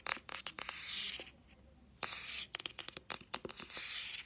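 A solid green hardcover children's book is held in the hand while nails and fingertips tap its spine and cover. About fifteen short, bright, clicky taps come in quick clusters, with stretches of soft hissy brushing between them and no ringing after each tap.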